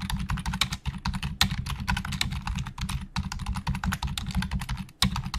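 Fingertips of both hands type very fast on the hollow plastic keys of a black plastic Logitech full-size keyboard resting on a desk. The result is a dense, continuous stream of short, sharp clicks with bright, crisp tops and a low thud beneath each keystroke, with brief gaps between bursts.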